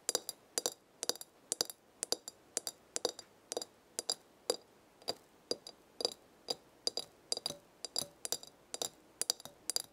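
Long red nails tap the glass side of a glass herb jar full of dried leaves with a black lid. The result is an irregular series of quick, bright clinks, often in pairs, each dying away almost instantly with no low-end body.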